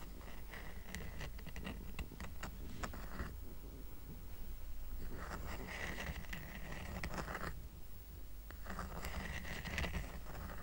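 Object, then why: Woven rattan coaster. A small, round, flat woven rattan coaster lying on a fabric blanket is tapped and scratched with medium-length painted fingernails. Bursts of dry scratching and light tapping come and go over a steady low rumble, with quieter gaps between.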